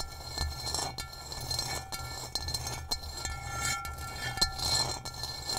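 Long nails tap and trace across the textured surface of an upside-down, hollow, gray rough ceramic bowl. Sharp, bright clicks with very short ring stand out over a scratchy, hissing texture and a steady low rumble, with faint sustained high tones throughout.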